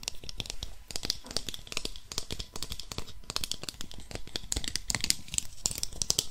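A small, hollow, painted wooden Russian nesting doll held close to the mic is tapped and scratched with long nails while its halves are twisted. Dense, irregular clicks and crisp scratching come through with a bright, high edge, alongside dull, woody low knocks that barely ring.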